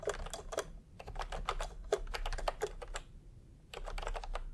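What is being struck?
Plastic computer keyboard with round keycaps.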